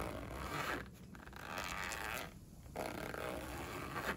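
A pink padded polyester pencil case with a zipper lies closed and flat on a windowsill while one hand holds it down and fingertips with painted nails pull the zipper along its edge, zipping and unzipping it. The zip teeth give a coarse, bright rasping sound in bursts, separated by brief quieter pauses as the pull changes direction.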